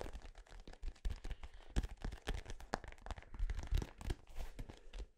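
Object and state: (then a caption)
Synthetic-leather soccer ball. A small dark-blue synthetic-leather soccer ball with sticker labels, hollow and inflated, is held close to the microphone and tapped and scratched with fingertips and nails. The result is a quiet, rapid stream of soft, hollow low thumps mixed with dry, crinkly scratching, with no ring after each tap.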